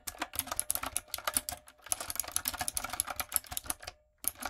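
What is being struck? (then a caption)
Plastic keycaps on a mechanical keyboard. Long nails and fingertips type on a retro typewriter-style backlit mechanical keyboard with round plastic keycaps. The result is a rapid run of bright, sharp clicks and clacks that die away almost instantly. The typing pauses briefly near the end, then resumes.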